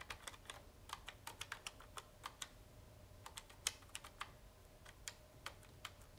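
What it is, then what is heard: Plastic push-button telephone keypad. A fingertip repeatedly presses and taps the plastic keypad buttons of a hollow red plastic wall-style push-button telephone base, held in one hand and lifted off the table, with the handset lying beside it. About twenty short, bright, clicky taps sound much like typing on a keyboard, each dying out almost instantly over a faint low hum.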